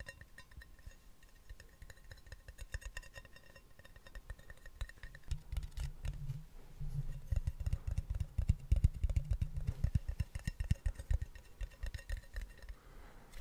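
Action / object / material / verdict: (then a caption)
tap / small plastic snus can / plastic / none. A small, hollow round plastic snus tin with a blue and white label is held in both hands close to the mic and tapped and scratched with fingertips and nails. Rapid, irregular, soft taps make dull, low thumps with quick scratchy clicks between them, under a faint steady hum. The tapping grows denser and louder through the middle of the clip, then eases off toward the end.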